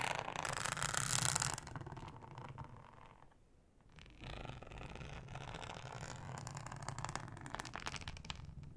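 Long nails scratch slowly across a thin, flat, solid yellow ribbed flexible plastic cutting mat, making a dry, bright rasping with a low rumble underneath. The scratching is loudest and brightest at the start, fades almost to silence midway, then resumes as a steady, quieter rasp to the end.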